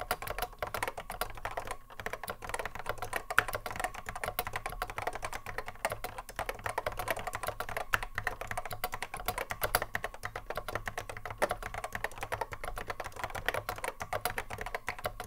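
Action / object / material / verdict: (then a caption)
tap / plastic mechanical keyboard / plastic / none. A cream Apple M0110A vintage keyboard, with a hollow plastic case and Alps SKCC mechanical switches, sits on a wooden desk while the fingertips of both hands touch-type on it continuously. The result is a steady, dense stream of short, crisp clacks with a midrange tone, each dying away almost instantly over a faint low hum.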